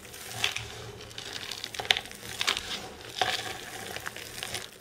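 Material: Soap.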